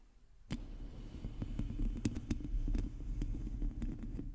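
Long teal nails of both hands scratch a hollow domed metal mesh microphone grille. After a quiet half-second, a dense, low, rumbling scratch begins with a steady hum near 230 Hz. Sharp bright clicks from the nails catching the mesh cut through it.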